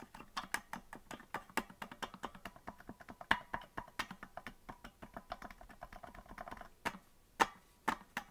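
Fingertips tap the keys of a hollow green plastic melodica that is not being blown, making a run of short, dry plastic clicks. The taps come quickly and unevenly at first, then thin out into a few sharper, louder clicks near the end.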